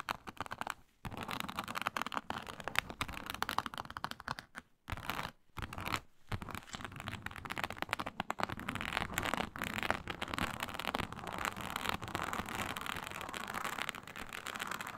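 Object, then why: Textured synthetic leather sheet. Long nails vigorously scratch a flat, iridescent snake-scale synthetic leather mat, a snakeskin-textured faux leather sheet. Dense, dry scratching and crackly scraping fill the clip with brief pauses near the start, then settle into a steady, bright rasp.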